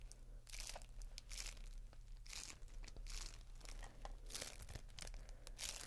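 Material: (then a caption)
Plastic. A large clear plastic bubble wrap sheet is held up while fingers crinkle and scratch it. Dense bursts of bright, crackly crinkling and scratching come and go over a steady low hum.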